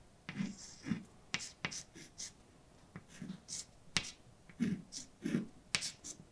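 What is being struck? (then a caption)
Chalk on a slate blackboard. A hand writes letters with white chalk across a large, dark, flat chalkboard. Sharp, bright taps as the chalk strikes the board are interspersed with short, scratchy scrapes. Softer low, rounded strokes fill the gaps between them.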